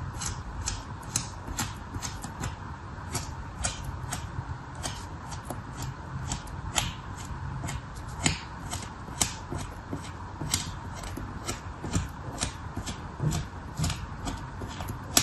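A small red plastic spatula repeatedly scrapes lines into the edge of a flat solid slab of dark red kinetic sand lying on patterned paper. Short, crisp scratching strokes repeat steadily over a low, steady background rumble.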